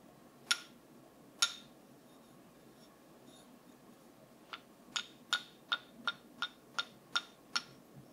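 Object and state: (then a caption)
Wooden brush tapped. A wooden brush is tapped: eleven sharp, bright clicking taps with very little ring, two spaced early on, then after a pause a run of nine quicker taps at a fairly even pace. A faint hiss sits underneath throughout.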